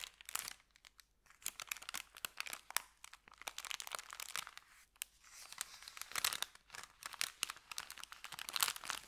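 An empty, thin kraft paper bakery bag is crinkled flat with the fingers, then lifted and handled to open it and crinkle it further. The result is a dense run of sharp, bright crackles and rustles with almost no low end, coming in bursts that swell and fade.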